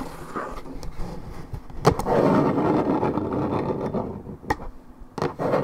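Long red and black acrylic nails scratch and tap the printed surface of a Minute Maid 1.75 L coated paperboard orange juice carton, hollow and held on its side with contents unknown. A dense, papery scratching fills the clip, strongest in the middle, while several sharp, hollow taps cut through it with short, dry decays.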